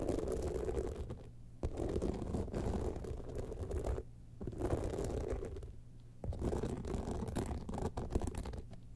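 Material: Rhinestones.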